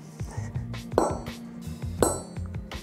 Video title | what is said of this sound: Ep. 01 - Como escolher o kettlebell ideal? | faz um barulho de sino então essa esse som de sino batendo é característico do ferro nodular